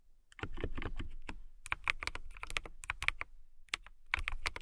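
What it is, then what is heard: Plastic mechanical keyboard being typed on. Fingertips with long pink nails press and tap the clear plastic keycaps of a full-size transparent KiiBOOM Phantom 81 mechanical keyboard with an RGB-lit case, typing steadily. The result is a dense run of crisp, bright clacks centered around 2 kHz, each with a soft low thock beneath it. The clacks come in quick bursts separated by brief pauses.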